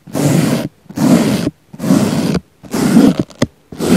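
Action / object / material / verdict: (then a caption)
scrape / foam sponge brushed with a small brush / foam / none. A small black brush sweeps across the surface of a round, solid, soft pink foam sponge in slow, repeated strokes. Four long, dense rustling brush passes with a dull, muffled body are each separated by a short silence, then come two quick flicks and the start of another stroke as the clip ends.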